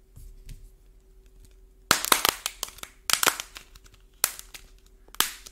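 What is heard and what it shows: A small solid green modeling clay ball with a dried, shiny orange paint shell is held in both hands while fingertips and thumbs squeeze and knead it, cracking and flaking the brittle paint crust off the soft clay. After almost two seconds of faint rustling, sharp, bright crackles and snaps arrive in quick clusters, each dying away almost at once. A faint steady hum sits underneath throughout.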